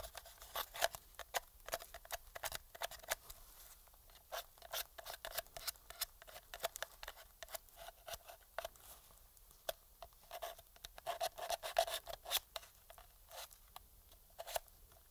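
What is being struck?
Plastic game controller.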